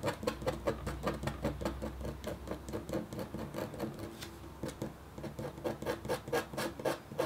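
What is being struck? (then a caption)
Black-coated copper foil sheet scratched with a metal stylus. A red-handled, metal-tipped stylus scratches a flat, black-coated copper foil scratch art sheet in short strokes. About thirty dry, rasping scrapes come in a quick, uneven rhythm, each with a slight metallic edge. A faint low hum sits underneath for the first few seconds.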